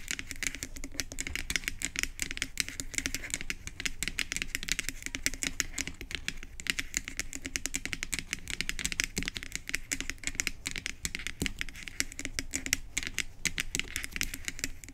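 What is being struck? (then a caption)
Plastic pump head of a bottle. Long acrylic nails rapidly tap on the white plastic pump head and round cap end of a hollow bottle. A continuous stream of quick, dry, bright clicks with almost no ring, like fast typing, runs steadily throughout.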